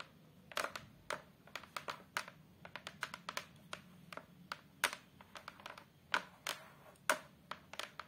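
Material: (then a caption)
Hardboard. Long, colorful acrylic nails tap rapidly on the surface of a thin, solid fiberboard/hardboard photo frame backing board. Twenty-nine short, dry clicks come in an uneven run, each bright and papery with a mid pitch, dying away almost instantly over a quiet background.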